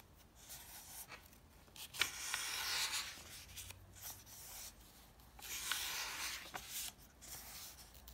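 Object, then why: Softcover paper comic book. Fingertips rub the thin pages of an open softcover paper comic book and turn them over, making soft, bright papery rustles. The quiet brushing swells into louder sweeping rasps as pages lift and fall, with short crisp flicks as each page settles.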